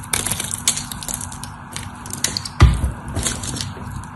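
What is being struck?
Bar of soap.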